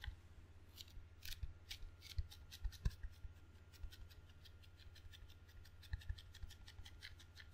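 Sticky fingertips rapidly tap and peel on the red rubber face and wooden edge of a table tennis paddle with a solid wooden blade, held in one hand. The result is a quiet stream of quick, crisp, bright clicks and snipping peels with almost no ring, over a steady low hum and a faint thin tone.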